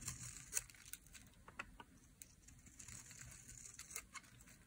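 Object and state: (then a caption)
Dry soap bar. A metal blade shaves flakes off the edge of a dry, solid pink soap bar held in the hand. The result is quiet, bright, crisp scraping and crackling, with several sharp ticks over a low, faint rumble.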